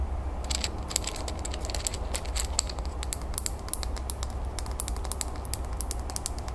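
Long natural nails rapidly tap and scratch the sides of a small clear glass bowl planter, filled with soil, pebbles and a succulent and held in the hands. Quick, bright, sharp clicks with almost no ring sound over a steady low hum.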